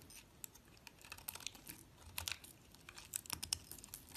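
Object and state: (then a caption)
Bar soap being shaved. A small solid piece of yellow and green soap, held by fingers with long lilac nails, is shaved with a metal utility blade. It makes quiet, bright, crisp scraping and crackling strokes in a rapid irregular series, each one dry and short with no ring.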